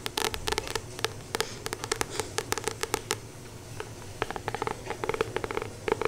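A solid paperback Acupuncture Points Handbook with a glossy card cover is held in both hands and tapped and scratched on the cover with long painted nails. Around thirty quick, dry clicks and scrapes come in uneven bursts, bright on top with a faint papery body near 430 Hz. Each stops almost instantly over a soft, steady hiss.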